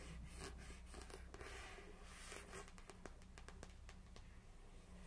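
Long pink acrylic nails tap and scratch the glossy card front cover of a Harry Potter and the Philosopher's Stone paperback, a solid paper book held in hand over its boxed set, before the book is turned to show the back cover. Soft, airy scratching in the first half gives way to a run of crisp, quick nail taps, all over a low, steady background hum.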